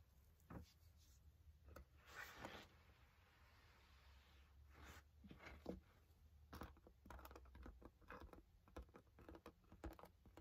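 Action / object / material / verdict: tap / padded nylon carry case / nylon fabric / none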